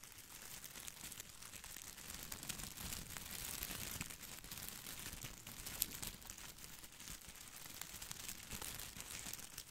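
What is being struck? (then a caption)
Artificial boxwood ball with plastic leaves. A head-sized artificial boxwood ball with small plastic leaves is held in both hands over the microphone while fingertips scratch and rub the leaves. The result is a steady, quiet, dense crinkling and crackling rustle, bright and papery, made of many tiny clicks that run together with no pauses.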